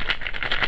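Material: Gourd.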